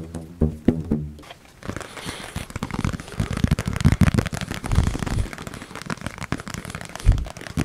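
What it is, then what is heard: Plastic food container. A small, hollow yellow plastic food storage container with its lid apparently on is held in both hands close to the mic and tapped rapidly with the fingertips and nails. A few hollow, resonant knocks open the clip, then give way to a dense, crackling run of quick taps. The sound is deep and thuddy with little high end, and each tap stops short.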